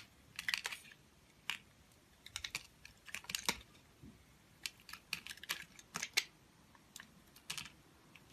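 A hand-sized solid cylindrical soap bar, with a green wax coating over white soap, is held in one long-nailed hand and scraped and carved with a utility knife blade, shaving off the coating. The result is quiet, crisp, bright scraping clicks and short rasps that come in irregular bursts with almost no ring.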